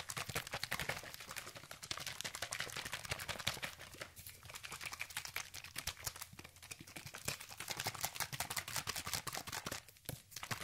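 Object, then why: Plastic spray bottle. An orange, hand-sized, hollow plastic sunscreen spray bottle containing liquid is gripped in the hand and shaken quickly near the microphone. A steady stream of fast, bright rattling clicks and sloshing continues for about ten seconds, briefly easing just before the end.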